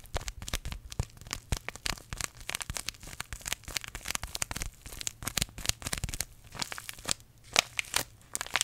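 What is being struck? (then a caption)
Paper tea sachet. A small green paper tea bag sachet is crinkled and scratched by fingertips close beside the microphone. It makes a dense stream of short, bright crackles and crisp rustling pops. The sound is irregular and papery, with a faint low hum underneath.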